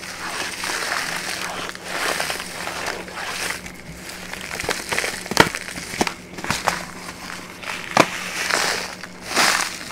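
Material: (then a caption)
Paper. A small, empty brown kraft paper bag is held in both hands and handled, folded and crinkled with long manicured nails and fingertips. Bright, dry crinkling and crackling rise and fall in waves, broken by several sharp, short snaps of the paper. A faint steady low hum sits underneath.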